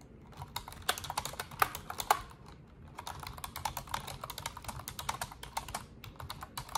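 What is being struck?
Plastic computer keyboard.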